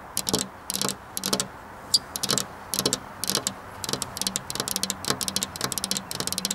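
Both hands with long black nails tap rapidly on a flat glass window pane. The sound is a run of quick, bright, clicky taps in short bursts and rolls, each tap dying away almost instantly.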